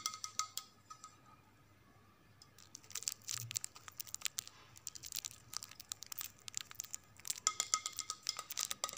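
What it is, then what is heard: Ceramic plate tapped with fingernails. A flat white ceramic plate with blue rim stripes is held upright and tapped with long nails. Bright, dry clicking taps with a faint short ring come in scattered bursts, with a quiet pause early on before the tapping turns rapid and dense.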